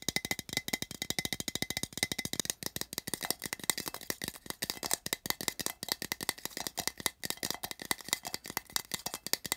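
Fingertips tap quickly on the side of a small, open, empty, printed metal tin, producing a rapid, continuous stream of bright, tinny clicks. Each tap is short and dry with almost no ring or low end, with a hollow metallic tone centered near 3.8 kHz.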